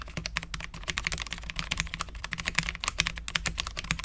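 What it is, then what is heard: Low-profile mechanical keyboard with ABS keycaps on a steel plate. A full-size Cherry MX10.0 low-profile mechanical keyboard with Cherry LP switches, dark ABS keycaps and a steel plate is typed on with the fingertips of both hands. The result is a rapid, continuous stream of short, crisp, bright clicks centered around 2.5 kHz, each dying out almost instantly over a faint low hum.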